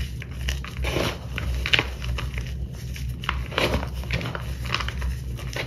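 Both hands dig their fingertips into a heap of pale purple crushed dyed gym chalk, fine powder with small chunks, in a white bowl, rubbing and crushing the chunks into powder. The result is a steady run of soft, gritty crunches and bright crackles over a low, muffled rumble.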